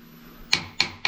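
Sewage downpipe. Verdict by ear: Empty.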